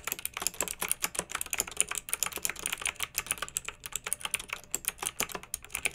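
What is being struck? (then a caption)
Plastic mechanical keyboard with round keycaps. Fingertips with long nails type steadily on a pink backlit plastic mechanical keyboard fitted with round, typewriter-style plastic keycaps. The result is a quick, continuous run of crisp, bright clicks and clacks with almost no low end. Each keystroke dies away almost instantly.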